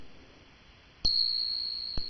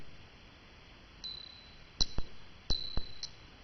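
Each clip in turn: First: genuine silver dollar coin. Second: fake silver dollar coin.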